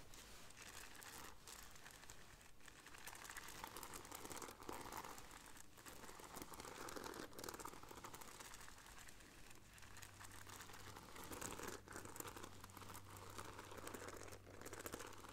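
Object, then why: Fabric bag with bead decoration. Long nails scratch the beaded front panel of a hanging black fabric bag with gold bead decoration, which looks empty. A quiet, steady crinkling and rustling scratch runs throughout, with a faint low hum joining in the second half.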